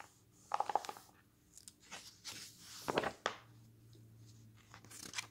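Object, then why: Glossy paper magazine pages. Fingers flip the pages of a glossy paper magazine lying on a wooden table, and a hand rubs them flat. Crisp, papery crinkles and sharp snaps stand out from a quiet background, with softer swishing and rubbing in between.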